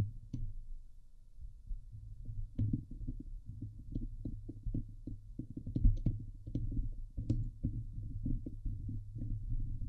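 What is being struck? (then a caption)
Steel wire-mesh microphone grille. Fingernails on both hands scratch and tap the hollow steel wire-mesh grille of a Blue Yeti microphone head. Through the mic, this comes out as a dense run of quick, muffled thumps and scrapes, boomy and low with almost no high end. A few sharper taps stand out, and each sound stops dead with no ring.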